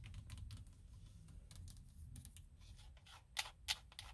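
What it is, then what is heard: Plastic steering wheel airbag cover. Long nails scratch and tap the hollow molded plastic airbag cover on a steering wheel hub, making quiet, rapid, uneven clicks and scrapes. The taps are bright and crisp with almost no ring, and two sharper, louder taps stand out near the end over a faint low rumble.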